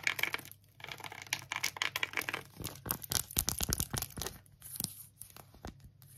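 Long acrylic nails rapidly scratch and tap an empty pink phone case with a tweed fabric back and a silicone edge, including along the edge. The sound is a bright, dry, crinkly rasp broken by quick sharp clicks, with brief quiet gaps between bursts.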